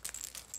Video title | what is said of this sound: ENTRIES NOW CLOSED! *WEEKLY GIVEAWAY* (With Aliyah & Reborn Mermaid Baby) | It's got a bit of a rattle, that's it.